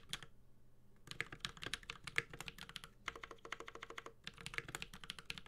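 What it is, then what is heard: Mechanical keyboard being typed on. A Space65 Cybervoyager 65% mechanical keyboard with an aluminum case, plastic keycaps and Holy Panda switches is typed on with the fingertips of both hands. Rapid bursts of bright, crisp key clacks with very short decay are heard, with a soft low thock under each press. There are brief pauses near the start and middle.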